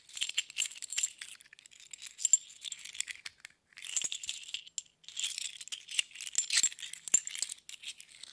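Several small hollow metal thimbles, held in both palms, are shaken and rattled against each other. The result is bursts of quick, bright metallic clinks and jingles with almost no low end, each tick dying away almost at once, separated by brief pauses.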